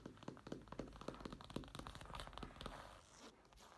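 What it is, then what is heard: Fabric clutch bag. A black woven fabric clutch bag lies on a table while its textured surface is tapped and scratched with fingertips and nails. Quick, dry, close-up taps follow one another with short bursts of scratchy rustle between them, fading to a soft fabric brush at the end.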